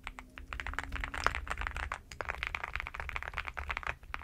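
A black NuPhy gem80 mechanical keyboard with a metal-framed case and dark plastic keycaps, lying on a bedsheet, is typed on with fingertips and long nails. Quick, sharp clacks with bright, high clicky edges come in dense bursts over a low rumble, and each keystroke dies away almost instantly.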